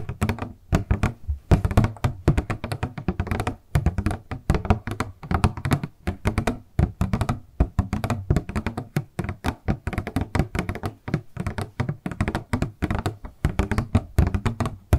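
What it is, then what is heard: Clear plastic product box. A small, hollow, rectangular transparent purple plastic packaging box with a printed paper insert is held upright in both hands and tapped with long acrylic nails. The result is a rapid, continuous stream of short, dull, low-pitched taps and thunks with very little ring, all sitting low with almost no high or bright content.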